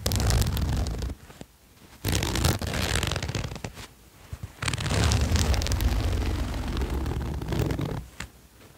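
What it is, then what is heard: Sherpa fleece jacket zipper. Fingertips hold the fabric of a red and white patterned sherpa fleece jacket lying flat while the zipper pull is drawn along the zipper, scraping the zipper against the fleece. The result is three long bursts of dense, rasping scratchy noise with a heavy low rumble, separated by short quiet pauses.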